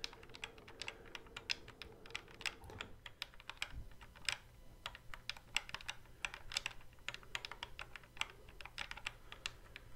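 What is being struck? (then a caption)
Plastic game guitar controller with fret buttons. Fingertips quickly tap and click the fret buttons on the hollow plastic neck of a Guitar Hero guitar controller held behind the microphone. Dozens of dry, bright plastic clicks come in a rapid, uneven patter, each one snapping off almost instantly. A faint low hum sits underneath.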